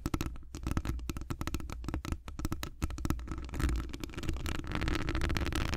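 Long acrylic nails scratch a hollow metal wire-mesh microphone grille, with hands wrapped around it. A rapid stream of sharp scratchy clicks rides over a dense, muffled low rumble. Toward the end the scratching blurs into a steadier continuous rasp.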